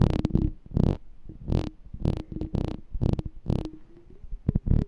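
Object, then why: Glass jar with metal lid. Fingertips and nails tap and scratch the ridged, embossed silver metal lid of a hollow glass jar held in the hand. The result is a series of soft, dull, bass-heavy thumps with brief bright scratchy edges that stop almost at once, plus a faint low hum between the taps.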